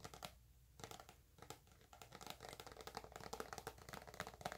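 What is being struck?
Soft plastic squeeze tube.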